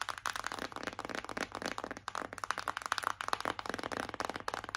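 A white printed cardboard Revolution Pro palette box, held in both hands, is tapped rapidly with long acrylic nails. The result is a dense run of dry, papery clicks centered around 1 kHz, each dying away almost instantly with little low end.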